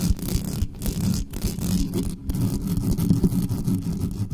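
Long nails on both hands scratch fast across the mesh grille of a large, dark, hollow metal USB condenser desktop microphone on a stand, with no cover on it. The result is a dense, continuous, rumbling scrape concentrated in the low end around a 160 Hz hum, with rapid fluttering bursts and very little high-frequency content.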